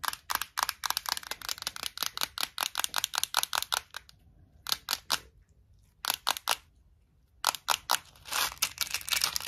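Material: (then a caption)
Plastic. Long acrylic nails tap and scratch the front and lid of a small, clear plastic Tic Tac box full of mints. Dozens of sharp, bright, clicky taps come in quick runs, broken by two short pauses. The clip ends with a burst of denser scratching and tapping.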